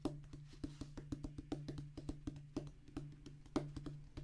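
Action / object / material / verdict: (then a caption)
tap / rubber drum practice pad on a cork base / rubber / none. A flat oval rubber drum practice pad, with a black rubber top on a thick tan cork-like base, lies on a wooden table and is drummed rapidly with the fingertips of both hands. The result is a quick, uneven stream of short, dull, woody taps with a low thudding body and almost no ring, each tap dying away almost at once.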